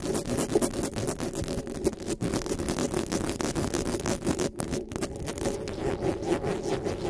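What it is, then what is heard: Metal microphone grille being scratched. Long nails rapidly and aggressively scratch and grip-rub the hollow metal mesh grille of a black microphone. The result is a dense, continuous stream of crackling, rustling scrapes with a steady midrange tone and only brief gaps.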